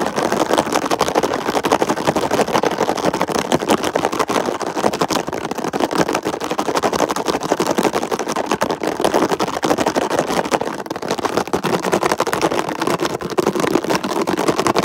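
Fingertips tap rapidly and nails scratch across the ridges of a red ridged plastic lid on a hollow container. The result is a dense, continuous stream of short, dry plastic clicks and scrapes, mostly in the midrange with little low end, each tap dying away almost instantly. The level stays steady throughout.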